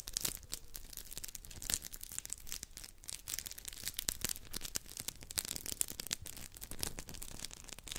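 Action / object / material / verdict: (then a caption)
scrape / two polymer scrub sponges / polymer foam / none. Two identical round, hand-sized yellow textured polymer scrub sponges are rubbed and squeezed together by fingers close to the mic. The result is a dense, continuous run of bright, scratchy crackles and crinkles, with rapid sharp clicks that stop almost instantly.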